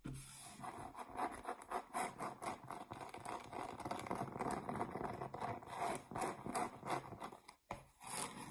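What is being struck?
Flat round cork board.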